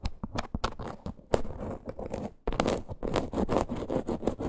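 Long green nails scratch across a small teal faux leather crossbody purse with a stitched parrot appliqué. The result is quick, dry, muffled scratching and scraping strokes, with a brief pause near the middle before a denser run of scratches.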